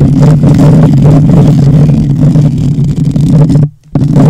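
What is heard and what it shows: Both hands rapidly scratch the hollow metal mesh grille of a black condenser microphone with fingertips and nails. The result is a loud, dense, rumbling scrape dominated by low frequencies, with a steady hum-like tone around 150 Hz. It cuts out briefly to near silence just before the end, then resumes.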